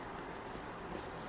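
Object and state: Nothing is struck.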